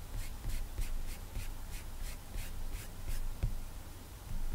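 Fingertips rub and swipe across a flat glass iPad touchscreen while the side of the hand rests on the screen. The result is a quiet series of soft, airy swishes, each stroke a brief bright hiss over a faint low rumble.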